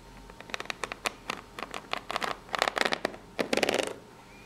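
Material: Cardboard.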